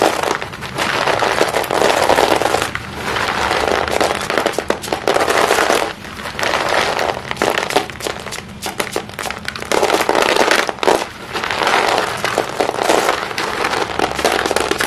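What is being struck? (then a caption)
Small chalk stick pieces in a plastic basin. Chalk-dusted hands scoop handfuls of small solid white chalk stick pieces in a green plastic basin, letting them drop and then rubbing and crushing them. The result is a dense, continuous crackling and gritty clattering, mostly in the mids and bright highs with almost no low end. The sound comes in steady bursts broken by brief quieter pauses.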